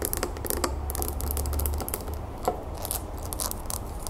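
A small clear glass terrarium bowl filled with soil and pebbles is lifted and held in the hands while long nails rapidly tap and scratch the outside of the glass. Quick, bright clicks and scrapes ride over a steady low hum, with one sharper tap briefly ringing out near 700 Hz.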